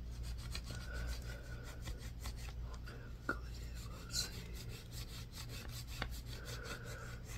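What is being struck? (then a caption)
Solid bar of soap. A palm-sized solid white bar of soap, held in one hand, is scratched and carved with a yellow multi-tined tool on a wooden handle, leaving visible shavings. Repeated soft, rasping scrapes run over a steady low hum, with a faint squeaky tone near 1.4 kHz and a few sharp, bright clicks standing out.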